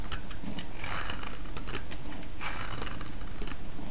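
A utility-knife blade carves ridged slices from a small, solid cream-coloured bar of soap, cutting and scraping through it. Soft, crisp crunching and scraping strokes run in a steady stream over a low, continuous rumble.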